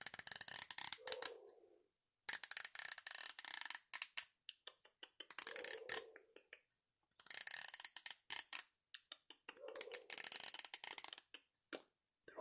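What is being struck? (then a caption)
Plastic comb. A small, solid, wide-tooth yellow plastic comb is held in one hand while the fingers flick or scratch along its teeth. It makes quick runs of bright, dry, crackling ticks and patter, like small scissors snipping, in repeated bursts separated by brief silences.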